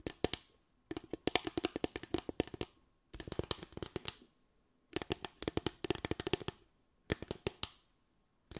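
Long acrylic nails tap and scratch across a small slatted bamboo stand with a ridged top, likely hollow underneath. The result is crisp, dry clicks in rapid bursts with short pauses between them, each tap stopping almost instantly and carrying a bright, hollow edge.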